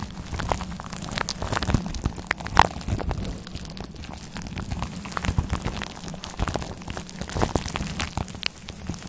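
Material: Faux fur.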